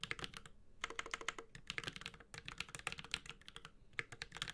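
Fingertips of both hands type continuously on a Space65 Cybervoyager, a 65% metal-case mechanical keyboard with Holy Panda switches and ABS plastic keycaps. The result is a rapid, uneven stream of sharp, bright clacks with a dull low thock under each press, each one dying out almost instantly, with brief pauses between bursts.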